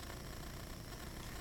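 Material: Nothing is struck.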